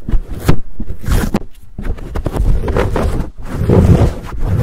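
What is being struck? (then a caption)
Foam microphone windscreen. Fingertips scratch and pinch a fuzzy black foam windscreen on a Blue Yeti microphone, very close to the capsule. The result is a dense, low, muffled rustle and crunch with irregular scratchy bursts and brief gaps, heavy in boomy low end with little brightness.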